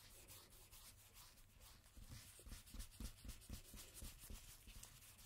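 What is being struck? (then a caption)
Coated cardstock playing card rubbed with a cotton swab. A single thin coated-cardstock playing card lies face up and flat on a dark table while a cotton swab in a red-gloved hand rubs it and a blue-gloved hand holds it steady. Quick, rhythmic scrubbing strokes make a soft, dry rubbing hiss with low, muffled thuds, growing slightly firmer in the second half.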